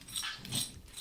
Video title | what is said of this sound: 5 Kitchen Gadgets That Transformed My Health After 40 - Game-Changers for Fitness | I really want you guys to hear how crispy this is.